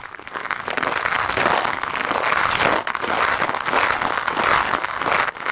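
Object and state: Foam microphone windscreen being brushed.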